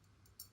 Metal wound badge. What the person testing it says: you can hear it's hollow inside